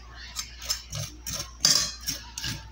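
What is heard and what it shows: A freshly fried cassava-flour and sausage snack is tapped close to the microphone, apparently with cutlery, giving eight short, crisp, high-pitched crackling taps. The snack came out very crunchy.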